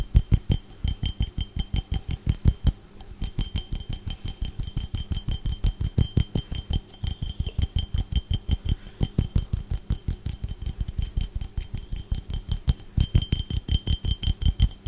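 A clear, empty, hollow hand-sized drinking glass with a faceted base is held in one hand and tapped and scratched with fingertips and nails close to the microphone. Rapid, uneven bursts of short, thuddy taps dominate the low end, with faint bright glassy tones ringing above them and scratchy rustles between strikes throughout.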